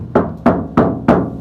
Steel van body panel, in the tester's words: it's like loud and tinny and echoey